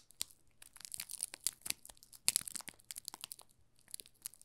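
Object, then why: Soap bar wrapped in thin plastic film. Thumbs press and rub the thin clear plastic film wrapped over the top of a small solid yellow soap bar, making it crinkle. A quiet stream of crisp, bright crackles and crinkles comes in irregular bursts, some sharper snaps standing out, with almost no low end.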